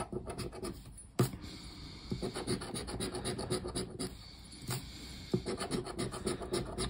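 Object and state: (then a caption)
Scratch-off lottery card being scraped. A hand scrapes the silver latex panel of a thin cardboard paper lottery scratch-off ticket, lying flat on a wooden table, with the edge of a black round plastic disc. Quick, irregular raspy scratching strokes repeat throughout. A couple of sharper, louder scrapes stand out near the start and toward the end.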